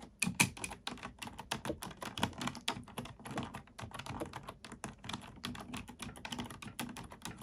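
A black plastic computer keyboard is typed on with both hands, using fingertips and nails. The result is a fast, steady run of short, bright clicks and taps over a soft low thud from the keys bottoming out, with each stroke dying away almost instantly.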